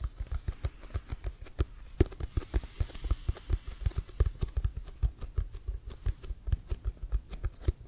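Fingertips and nails tap rapidly on the pebbled side of a large brown leather-covered American football with a white stripe, hollow and inflated. The steady run of quick, separate taps produces short, dull low thuds with crisp, bright clicks on top. Each tap dies away almost instantly.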